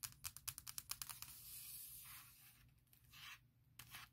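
Long nails tap quickly on the closed lid of a large MacBook Pro near the Apple logo, giving a rapid run of bright, clicky hits on the hollow aluminum shell. The tapping gives way to a sustained, hissy scratching across the metal surface, then ends with a final tap.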